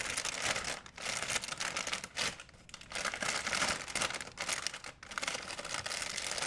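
An empty, large white printed plastic shopping bag is stretched and crumpled by fingers. It makes a dense, bright crinkling that comes in continuous bursts separated by a few brief dips, with almost no low end.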